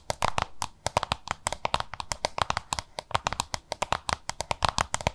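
Long nails tap and scratch quickly across the front of a small, hollow, oval yellow-green plastic lunch box. The result is a rapid, uneven series of sharp, dry clicks with brief scratchy scrapes between them. Each tap has a hollow mid-range knock and a bright, crisp edge, and dies away almost instantly.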